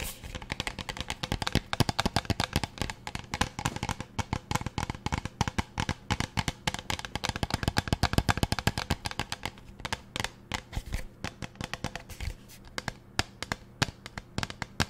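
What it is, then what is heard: Plastic pump bottle tapped with nails. Long nails tap rapidly and irregularly on a large teal plastic pump bottle held close to the mic. The result is a dense stream of short, dry clicks with a faint low hum underneath, thinning out toward the end.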